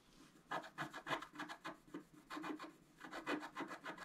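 A thin wooden stylus scratches rapidly across a flat coated scratch-art paper board. The dense run of short, uneven scratching strokes gives a dry, raspy rubbing sound centered around 1 kHz with a bright edge. Each stroke stops almost at once, with no ring.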